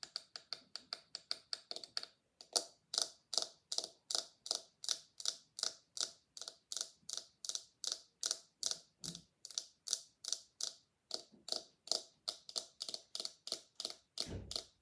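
Long nails scratch and flick across the bristles of a small, solid pink silicone scalp massager, making a rapid series of dozens of short, dry, bright ticking scratches. A quick burst in the first two seconds is followed by a brief pause, then a steady, slightly uneven rhythm of crisp flicks that die away almost instantly.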